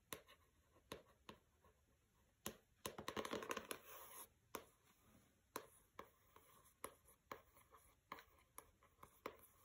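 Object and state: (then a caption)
Hardcover book tapped and scratched with fingernails. Fingertips with long red nails tap and scratch the cover and lower edge of a closed, solid pink hardcover book with a paper cover, resting on carpet. Sharp, dry taps land at an uneven pace, broken up in the middle by a dense burst of bright, rasping scratching. The taps die away almost at once, leaving a quiet, close sound.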